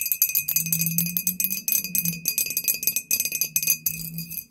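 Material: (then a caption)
Glass. Long painted nails on both hands tap rapidly across a tall, clear, embossed glass "Poison" bottle with a paper label, hollow and apparently empty. The result is a quick, dense flurry of bright, clicky glassy ticks with very short ring, over a faint steady tone near 2.6 kHz and a soft low hum.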